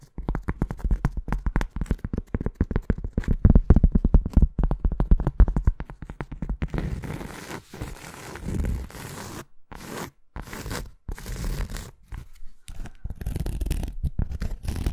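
Long acrylic nails tap rapidly and unevenly on the face and edge of a thin round cork coaster, giving dull, short, low clicks that stop almost instantly. After about seven seconds the tapping gives way to rough scratching and scraping across the cork, with brief silent gaps between strokes.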